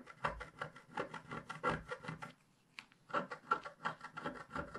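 A wooden stylus scrapes lines along the bottom of a flat, black-coated scratch-art sheet held in a hand. It makes a quick run of short, dry, scratchy strokes with a mid-range rasp, pauses briefly in the middle, then resumes at the same steady pace.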